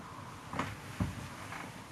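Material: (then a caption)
Body tissue. Percussion of the front of a human chest, done to check for a dull or hyperresonant note. Two short, soft, low thuds sound about half a second apart, each dying away quickly over a steady quiet background hiss.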